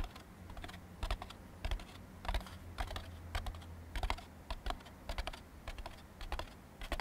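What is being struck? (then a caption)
Molded-fiber paper plate. A thin, empty white molded-fiber paper plate is held upside down while fingertips and nails tap quickly on its underside. The result is rapid, irregular, dry clicking taps with a bright edge over a low, steady hum.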